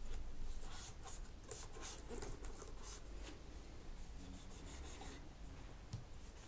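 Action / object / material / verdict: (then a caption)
scrape / plastic laptop keyboard keys / plastic / none. A cotton swab is rubbed between the black plastic keys of a laptop keyboard while fingertips with long nails rest on the keys. Soft, scratchy rubbing strokes come in quick, uneven bursts with bright swishing edges over a steady low hum, and the strokes grow slightly quieter toward the end.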